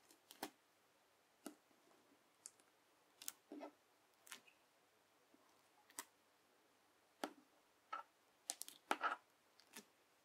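A square sheet of clear teal bubble slime has its edges pushed and pressed with a yellow plastic knife. Quiet, sharp crackling pops and clicks come in scattered bursts with short silences between them. The bursts grow busier toward the end.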